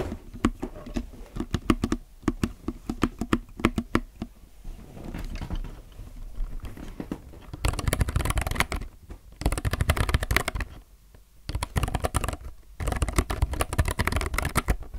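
Close-up typing on a low-profile mechanical keyboard with plastic keycaps: spaced spacebar presses give short, clacky hits. These are followed by bursts of fast two-hand fingertip typing. The clicks are dense and bright, and they sit over a low, thumpy body.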